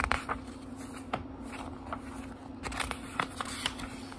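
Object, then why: Small book with thin paper pages. Fingertips turn the thin paper pages of a small, thick book, giving soft, crisp rustles and light flicks. A steady low hum sits underneath. Several brighter page snaps stand out, especially near the start and in the last second and a half.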